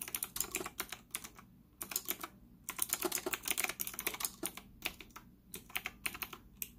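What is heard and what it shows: Fingertips type rapidly on a white retro typewriter-style plastic mechanical keyboard with round plastic keycaps and an integrated stand, sitting on a desk in front of a laptop. Bright, crisp clicks come in quick bursts with short pauses between them, and each keystroke dies away almost instantly. The solid, hollow-cased body gives the clatter a light plastic tone.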